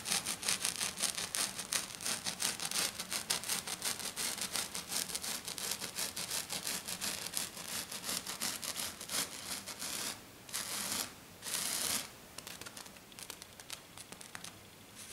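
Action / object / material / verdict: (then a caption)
scrape / glitter sheet scratched with fingernails / glitter / none. Short, dark-painted fingernails scratch fast across a flat silver glitter sheet lying on a table, making a rapid, bright, crackly rasp of quick strokes. Around the ten-second mark the scratching breaks into a few longer sweeping bursts, then continues as softer, quieter scratches.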